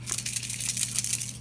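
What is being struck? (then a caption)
Plastic glitter pen with mixing ball. A Spectrum Noir crystal-clear sparkle pen is shaken before use, its mixing rattle making a quick run of bright, high clicks over a faint low hum. The pen is nearly running out.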